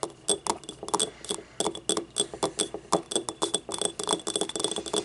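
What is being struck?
Small ribbed ceramic cup.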